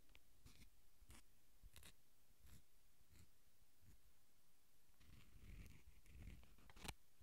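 Fingertips and nails scratch and crinkle a small, filled, flexible red plastic sauce packet held in the fingers close to the mic. Quiet, soft scratching comes in short, bright crisp bursts over a low, muffled rumble. It builds to a denser crinkle near the end, topped by one sharp tick.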